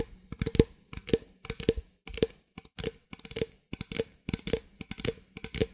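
An empty, hollow clear plastic drink bottle is held in both hands while long nails tap and scratch its sides. Short, dry clicky taps with a hollow tone near 450 Hz come in quick clusters about every half second, mixed with brief scratching rasps.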